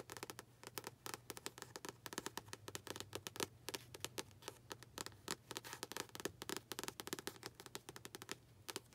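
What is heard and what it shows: A paperback copy of "Don't Sweat the Small Stuff" with a glossy paper cover, held upright, is tapped rapidly on its front cover with long pink acrylic nails. The result is a dense run of sharp, bright clicks with very short decay and a faint crackle between them, over a steady low hum.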